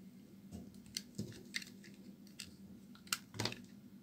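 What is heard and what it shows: A palm-sized, fragrant white embossed bar of soap is held in the hand and cut and scraped with a metal utility knife blade, chipping off pieces. About six crisp, bright crunching scrapes stand out over a quiet, steady low hum, each dying away quickly.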